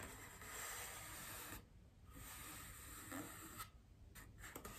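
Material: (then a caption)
Styrofoam. Long painted nails scratch and tap a large white solid styrofoam wreath ring resting on a table. Soft, hissy, rasping scrapes come in bursts with brief quiet gaps, followed by a few short, light taps toward the end.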